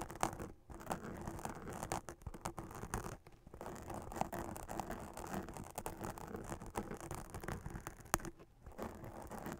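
A hollow witch hat made of black fabric with a silver glitter spiderweb print and a sequin band is scratched by long acrylic nails. The result is a dense, dry, brushing scratch with quick clicks and rustles, briefly pausing near 0.6, 3.3 and 8.5 seconds, with a steady mid-low tone underneath.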